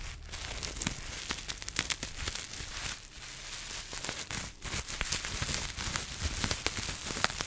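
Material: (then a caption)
Plastic. Long nails scratch and crumple clear plastic bubble wrap held close to the lens. The result is a steady, bright crinkling and crackling, dotted with many sharp clicks and light tearing sounds, over a soft low rumble.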